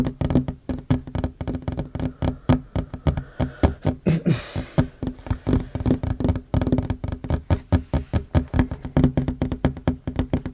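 Fingertips and short nails of both hands tap quickly on a solid wooden tabletop, making a fast, uneven stream of dull, low knocks that die away almost at once. Around the four-second mark a brief, brighter brushing sound rises over the tapping before the rapid rhythm continues.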